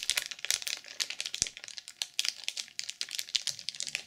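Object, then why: Sequin-covered journal wrapped in plastic film. Long purple nails tap quickly on the cover of a black sequin journal sealed in clear plastic film. The result is a rapid, uneven stream of crisp, bright clicks and crinkles that stop almost instantly, with no low end.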